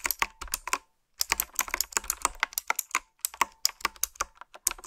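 Fingertips and nails type on a retro typewriter-style keyboard with a dark frame, round black plastic keycaps and blue backlit switches. It makes a quick run of sharp, bright clicks and clacks with almost no low end, each dying away instantly. Typing pauses briefly about one second in, then resumes in an irregular patter.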